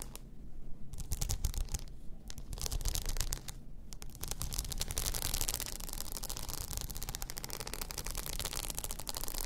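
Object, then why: Plastic rhinestone-mesh tumbler. Long nails scratch a hollow, cylindrical tumbler wrapped in blue plastic rhinestone mesh, lying on its side on fur. The result is dense, continuous, crackly scratching with a bright, gritty rasp over a steady low rumble, growing fuller and busier in the second half.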